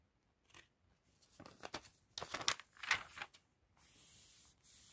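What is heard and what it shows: Hands lift and flip the thin glossy paper pages of an open fashion catalog, producing a series of bright, crisp crinkling and rustling bursts that build in loudness. After the flips, a quieter steady high hiss carries on to the end.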